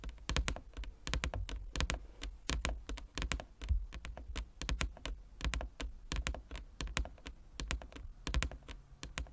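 Fingertips and nails of both hands tap on a large, flat, inlaid wooden chess board. Rapid, irregular bursts of crisp clicks with a soft, low thud underneath, each tap dying away almost instantly.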